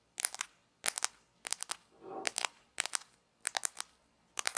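A few small, thin, solid grey plastic play coins from a toy pizza set are held in both hands and rubbed and clicked together with fingertips and long nails. Seven quick clusters of sharp, bright plastic clicks come through, with a softer rubbing scrape just before the middle. Each click is dry and stops almost instantly.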